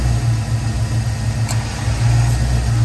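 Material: Nothing is struck.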